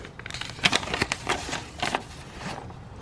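Bare fingertips unfold, flex and rub a thin, folded yellow paper instruction sheet printed with Japanese text, from a Kitaco red right crankcase trim ring for a Honda Super Cub C125. The paper makes a dry, bright crinkling with a series of short, sharp crackles over a soft rustle.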